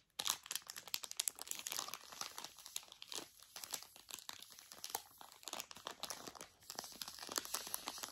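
A Zbar snack bar in a thin plastic foil wrapper, with the solid bar inside, is crinkled and squeezed with fingers and long nails. The result is a dense, bright crackling of many quick, dry crinkles with almost no low end. The crinkles come in uneven bursts over about eight seconds.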